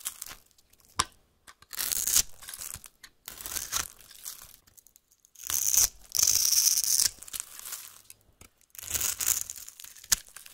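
A utility-knife blade cuts a grid into the surface of a solid white bar of soap held in one hand, then shaves off small cubes that crumble away. Bright, dry scraping and crumbling strokes come in uneven bursts, some long and steady and others short, with quiet gaps between them.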